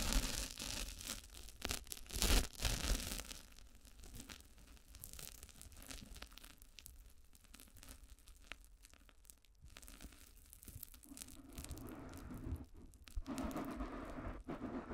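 A thick round pink foam disc sits on a microphone as a cover while long nails tap and scratch across its top. The result is a soft, crackly scratching and tearing-like texture with irregular taps. The sound is loudest and brightest near the start, fades quieter through the middle, and picks up again toward the end.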